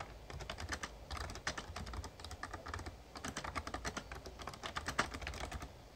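Fingertips type steadily on the keys of a Razer Ornata Chroma, a full-size backlit plastic mecha-membrane gaming keyboard. Each press gives a short, soft-edged clack over a low thumping undertone, with brighter clicks standing out here and there. The rapid keystrokes run continuously, with no ring between them.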